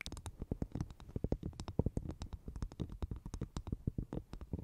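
Long painted nails tap and scratch the fibrous brown outer husk of a dry, hollow, empty half coconut shell placed over the microphone. The result is a quiet, rapid series of short, deep, hollow thumps with soft scratchy bursts between them.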